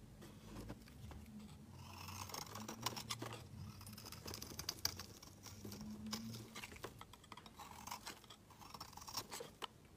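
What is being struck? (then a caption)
Soap bar scraped with a metal blade. A metal utility-knife blade shaves and scrapes a palm-sized, solid blue bar of soap held in one hand over a woven mat. Quiet, crisp scraping strokes with a bright hiss come in quick, irregular bursts, with a faint low hum underneath. Flakes and curls of soap pile up beside the bar.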